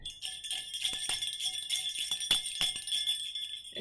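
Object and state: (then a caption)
Metal jingle bell. A small gold-colored metal jingle bell, hollow with a loose pellet inside, is held between the fingertips and shaken next to the face. It gives a rapid, uneven run of bright, high jingles centered around 3.5 kHz. Each jingle dies away quickly, with almost no low end.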